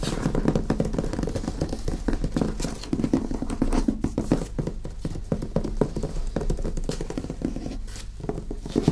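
A medium hardcover book, "The Normans," in an illustrated paper dust jacket, is held upright on a table and tapped quickly with fingertips and nails on its top edge and cover. The result is a dense, steady stream of short, dull, low-pitched taps that stop almost instantly, with light clicks from the nails.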